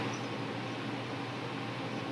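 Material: Nothing is struck.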